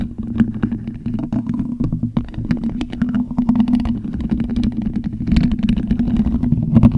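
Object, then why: Metal mesh microphone grille. Plastic skeleton-hand fingertips continuously scratch and rub a hollow black metal mesh microphone grille. The result is a dense, close scratchy rustle of quick clicks and rasps over a steady low resonant drone. It grows slightly louder toward the end.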